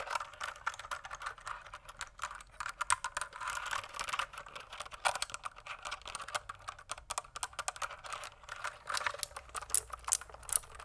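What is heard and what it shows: A pink plastic mechanical keyboard, tilted toward the camera, is typed on with fingertips. A steady stream of quick, bright, clacky keystrokes runs throughout, with a few louder key hits standing out.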